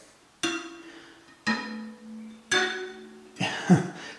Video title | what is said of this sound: New Wheel Truing Stand. A Giant spoke problem | They're all ringing though. What you're listening for is a dull thud.